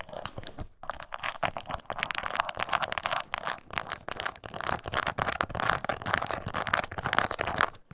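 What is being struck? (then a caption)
Small embossed leather coin purse. Long nails scratch the textured surface of a small, hollow, glossy brown crocodile-embossed leather mini coin purse lying on its side on a table. Dense, rapid scratching and crinkling continues throughout, varying between harder and softer strokes, with most energy in the midrange and bright upper tones.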